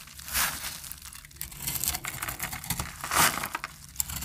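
A metal utility-knife blade scrapes the edge of a hand-sized, dry, peach-colored bar of soap held in the hand, shaving it into powdery flakes. The result is a dry, crisp, crackling scrape with bright, gritty bursts that rise and fade in uneven strokes over a quiet background.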